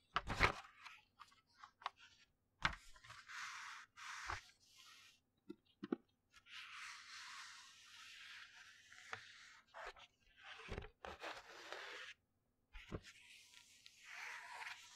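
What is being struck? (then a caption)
Paper textbook. A flat hand rubs and turns the pages of a large open paper textbook held behind the microphone. Soft, bright papery swishes and rustles alternate with sharp, crisp page flips and short quiet gaps.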